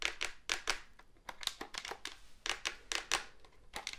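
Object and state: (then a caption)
Plastic phone handset, hollow casing. Fingertips and nails tap and scratch the hollow black plastic casing and keypad keys of a cordless phone handset. The result is a quick, uneven run of crisp, bright clicks and scratchy ticks that die away almost at once, with quiet gaps between them.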